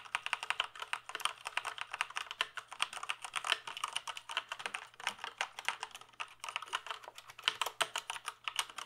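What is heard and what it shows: Fingertips type steadily on a full-size black plastic gaming keyboard with mechanical keys and a hollow case, held up in the air. The clip is a quick run of sharp, bright clacks with almost no low end. Each keystroke dies away almost instantly.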